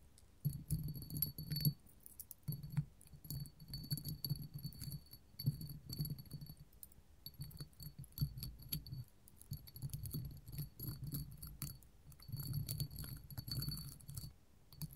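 A small clear hollow hobnail glass candle holder stands on a table and is tapped and scratched with long gold metal finger claws from both hands. Rapid, dense clicking and jangly scraping run in bursts throughout, with a low body under thin, bright glassy tones that ring only briefly.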